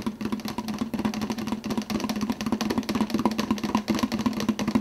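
Fingertips of one hand rapidly tap the clear plastic lid of a large 52 oz translucent blue plastic soda cup, which is hollow and held in the other hand. The quick, slightly uneven taps blend into a dense, continuous patter with a hollow, low-mid ring around 220 Hz and bright clicky edges.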